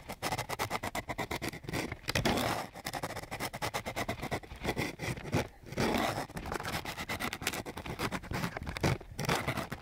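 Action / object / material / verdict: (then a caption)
scrape / coarse sandpaper sheet scraped with a wooden stick / sandpaper / none. A flat wooden popsicle stick is scraped back and forth across a flat sheet of coarse sandpaper. It makes a rapid, gritty scratching pattern with many quick strokes and short pauses, a broadband rasp that carries over a low body.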